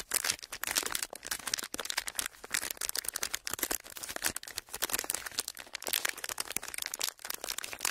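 Clear, ridged plastic packaging is pressed and crinkled with fingertips and palms, giving a steady stream of dense, crisp crackles and snaps. The sound is bright and high, with almost no low end, and rises and dips in short bursts throughout.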